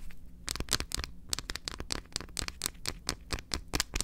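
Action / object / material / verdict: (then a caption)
tap / milk chocolate bar / chocolate / none. A large, solid, unwrapped milk chocolate bar, held upright in both hands, is tapped and scratched on its face and edge with long acrylic nails. About sixteen quick, dry, bright clicks and short scratches sound in rapid succession. Each one dies away instantly over a faint low hum.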